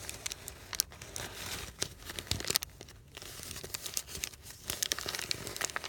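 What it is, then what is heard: Crumpled paper sheet. A thin, heavily wrinkled white paper sheet resting on a canvas cushion is squeezed, crumpled and unfolded by fingertips. The result is a continuous stream of bright, crisp crinkling and tearing-like crackles, with sharp snaps scattered through it and little low end.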